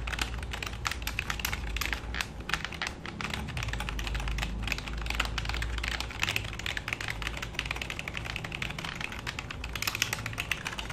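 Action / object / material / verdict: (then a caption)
tap / plastic computer keyboard / plastic / none. Fingertips and short nails of both hands type and tap rapidly on the keys of a black full-size plastic computer keyboard resting on a lap. The result is a dense, continuous stream of short, bright plastic clicks over a steady low hum throughout.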